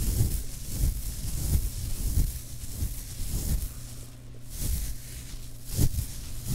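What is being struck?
Nothing is struck.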